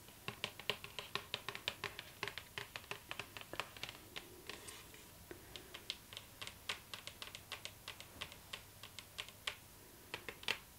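Long nails tap rapidly on the lid of a hollow cardboard gift box with a glossy floral print, recorded close up. The clip is a quick, steady stream of sharp, bright clicks with a slightly hollow knock beneath them, each tap dying away almost instantly over a quiet background.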